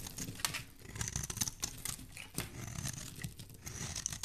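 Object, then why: Bar of soap. A solid, hand-sized bar of soap, white outside with a pink core, is held in the hand and scraped and shaved with a metal knife blade, peeling off flakes and curls. It makes a dense, continuous run of crisp scratching and shaving strokes with a bright, hissy edge and small sharp clicks. Faint low rumbling sits beneath the strokes.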